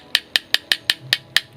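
The plastic base of a Hot Wheels Mazda RX-7 toy car is knocked seven times in quick, even succession. Each tap is a light, dry, high-pitched click that dies away at once, showing the base is plastic rather than die-cast metal.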